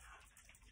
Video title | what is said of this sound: Coconut Exploration Part 1 | you hear it there's water coconut milk in these coconuts